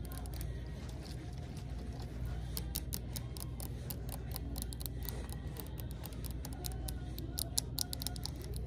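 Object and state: Plastic liquid-filled bottle tapped with nails.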